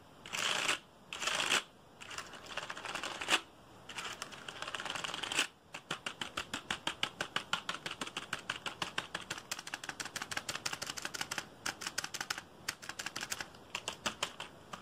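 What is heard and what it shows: A black plastic computer keyboard, held at an angle, is tapped and flicked quickly with fingertips. It opens with a few rough, bright swishing bursts, then gives way to a fast, steady stream of sharp plastic clicks. The sound is crisp and dry, with almost no low end.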